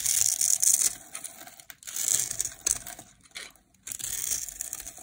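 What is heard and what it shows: A dry, solid light green bar of soap held in the hand is scored and shaved with a metal blade. It gives off bright, crisp scraping and crackling bursts in uneven clusters, separated by short quiet gaps.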